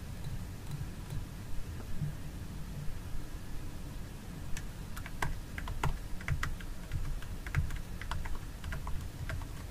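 Long nails tap and scratch the lid of a small clear plastic jar filled with orange fragrance gel, held in the hands. Quick, dry, bright clicks come in loose bursts, mostly in the second half, with a soft scratching texture over a steady low hum.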